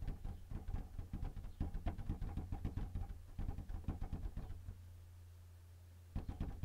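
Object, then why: Plastic inkjet printer casing. Fingertips tap steadily on the top surface near the front edge of a white plastic Canon inkjet printer with a hollow casing. Rapid, dull, low-pitched knocks sit over a steady low hum, then stop for about a second and a half, leaving only the hum, before resuming briefly at the end.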